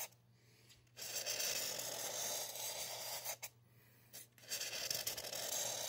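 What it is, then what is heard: Styrofoam mannequin head. A felt-tip marker scratches in repeated strokes over the grainy bead surface of a solid white polystyrene foam mannequin head as hair lines are drawn on. The dry, bright rasping comes in sustained bursts separated by brief quiet pauses, with a faint low hum underneath.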